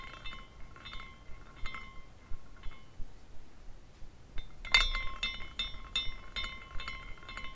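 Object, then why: Small glass carousel figurine with hanging glass pieces. A small glass carousel figurine spins after a hand spin, and its hanging glass horses swing and clink against the glass poles. Bright, short glassy tinkles ring out in an irregular patter, pitched around 3.6 kHz, over a faint low rumble. A louder burst of clinks comes about two-thirds of the way through.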